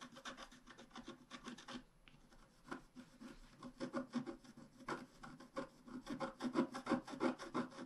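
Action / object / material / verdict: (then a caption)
scrape / black-coated scratch art paper card scratched with a wooden stylus / coated paper / none. A wooden stylus scratches and rubs the flower area of a thin, flat, black-coated scratch art card lying on a table. The result is a quick, fairly steady run of dry, raspy strokes with a brief pause near the two-second mark, then strokes that grow louder toward the end.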